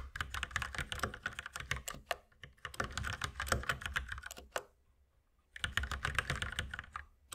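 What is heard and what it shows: Both hands type steadily with their fingertips on a white mechanical keyboard with plastic keycaps. Fast, clacky keystrokes run in dense bursts, stop for about a second of near silence, then resume at the same pace.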